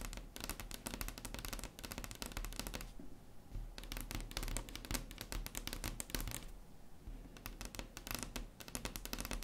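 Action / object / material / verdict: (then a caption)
tap / wooden tabletop tapped with long nails / wood / none. Long acrylic nails tap fast and scratch across a large, solid, flat wood-grain tabletop. Dense bursts of sharp, bright clicks pause briefly near the 3- and 7-second marks, where softer scratching comes through. The taps are dry and short, with almost no ring.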